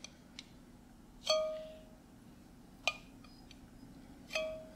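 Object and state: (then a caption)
Glass jar with metal lid. A small glass mason jar with a metal screw lid, filled with pinkish contents, is held in the hand while fingertips and nails tap the lid. Three clear metallic taps, each ringing with a bright, bell-like tone that slowly fades, are mixed with a few softer clicks over a low steady hum.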